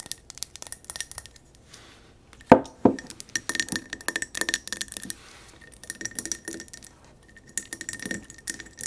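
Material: Glass.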